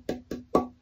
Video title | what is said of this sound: People's Choice Build Part 1 | I can hear a bell tone in that. This is closer to the density, the lightness of this would be closer to a mahogany.